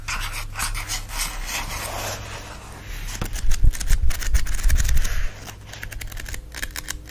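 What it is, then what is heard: Paper book pages riffled. Fingers riffle and flip the edges of a thick block of paper pages in a book, making a rapid series of dry, papery flutters and crisp snaps. The flipping grows louder and denser in the middle before easing back to softer, scattered rustles.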